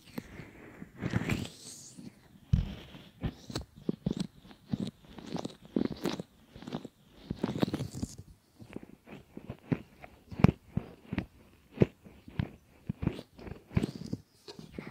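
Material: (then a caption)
Silicone. Fingers fold a pair of solid silicone ear models flat and rub them, making a steady run of soft, close-up rubbing and squishing strokes. Each short burst is muffled and weighted toward the low end, with brief crackly, crunch-like edges and quiet pauses between strokes.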